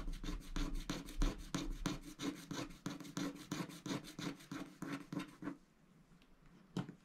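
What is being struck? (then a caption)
Coated scratch-art paper sheet scratched with a wooden stylus. A wooden stylus scratches and rubs across the flamingo area of a coated scratch-art paper sticker sheet, making a quick run of dry, rasping back-and-forth strokes with bright papery edges. The strokes stop after about five and a half seconds, leaving near-quiet before one last short scrape.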